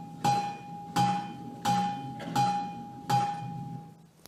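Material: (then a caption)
Granite. A 7–10 ton block of granite-like rock at a bluestone source outcrop is struck with a small hammerstone. Five clear strikes land at steady intervals, each giving a bright, clanging, musical ring with a steady tone that sustains between hits, and a sixth sharp tap sounds at the very end. The rock rings like a lithophone.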